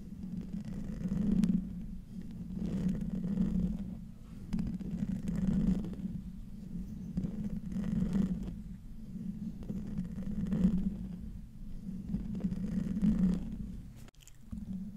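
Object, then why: Metal mesh microphone grille. Fingernails of both hands scratch the hollow metal mesh grille of a silver microphone. The result is a muffled, rumbling scratch centered low around 200 Hz, with almost no bright content. It swells and fades in slow waves every couple of seconds, then briefly drops out near the end.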